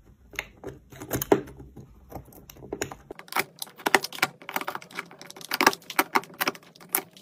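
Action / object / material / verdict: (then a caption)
scrape / soap bar / soap / none. A metal knife scrapes and carves crunchy flakes from a round, solid pink and white soap bar held in the fingers. The result is a rapid series of crisp, dry crackles and scratches with bright highs, almost no low end and very short decay. The strokes grow denser and louder in the second half.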